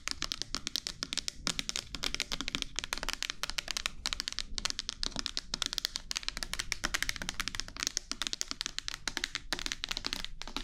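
A clear plastic micellar water bottle with a pink cap, partly filled with liquid, is turned in the hands and tapped and scratched with long nails close to the microphone. A rapid, steady stream of sharp, bright clicks and scratches plays over a faint low hum, each tap dying away almost instantly.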